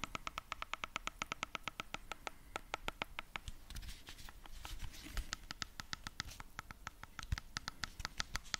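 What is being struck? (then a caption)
Portable speaker with fabric mesh cover. A hand-sized, solid, cylindrical JBL Bluetooth speaker with a grey fabric mesh cover and rubber end caps is scratched close to the mic with fingertips and nails. Dozens of rapid, crisp scratching ticks carry a steady tone near 1.3 kHz with bright high overtones over a low, rough rumble. Midway the ticks blur into a denser, noisier rasp before the sharp, regular scratching returns.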